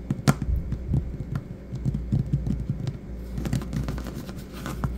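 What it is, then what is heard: Vinyl floor tapped. Fingertips and knuckles with short nails tap on a solid, patterned vinyl or linoleum floor. Soft, dull thuds come in a quick, irregular run, each dying away almost at once over a steady low hum. An occasional sharper click stands out.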